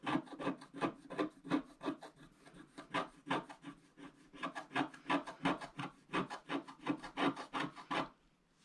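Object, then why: Scratch-art card scraped with a wooden stylus. A wooden stylus scrapes large areas of coating from a flat black-coated scratch-art card, uncovering a blue cloud band. It makes a steady run of short, dry rasping strokes, about three per second, with a low scratchy body and a bright hiss. The strokes soften briefly in the middle, pick back up, and stop just before the end.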